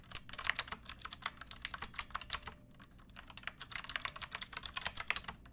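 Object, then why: Plastic mechanical keyboard. Long nails and fingertips type on a backlit pink mechanical keyboard with round plastic keycaps and a hollow plastic case. Bright, crisp clacks come in quick bursts, with a brief lull midway before the typing picks up again.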